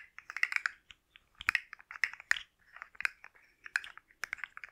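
A hand-sized rainbow plastic articulated slug fidget toy with hollow-jointed segments is held in one hand and tapped and scratched with long manicured nails close to the microphone. Quick, dry, clicky taps and raspy scratches come in irregular bursts, bright and crisp with a strong upper-mid tone and almost no low end. Each sound stops instantly with no ring.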